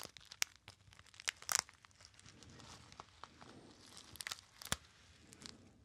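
A small, hollow gold metallized foil pouch, apparently empty, is crinkled and squeezed by fingertips. Sharp, bright crackles and crunches come in clustered bursts over a soft, continuous rustle, with almost no low end and no ring after each snap.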